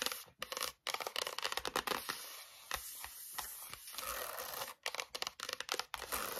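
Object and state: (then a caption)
Cardboard-covered spiral notebook. Long nails rapidly tap and scratch the card front cover of a closed pink A4 spiral notebook standing on a wooden table. Quick, dry, bright clicks come in bursts, broken by sustained scratchy scraping across the cardboard, with a tiny ring after each tap.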